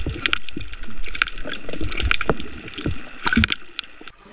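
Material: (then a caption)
Plastic. A plastic Super Cast Egi squid lure with an internal knocker is shaken by hand, and each jerk gives a short, dry knock from inside, a "toc" rather than a rattle. The knocks come in quick irregular bursts over about four seconds.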